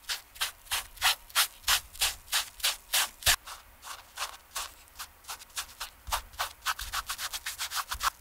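A TOMS Cloud canvas slip-on shoe is held on the hand while its toe and upper are rubbed with a foam sponge brush on a wooden stick to clean and restore it. About 30 quick, fairly steady back-and-forth strokes make bright, airy scrubbing swishes with almost no low end, some strokes louder than others.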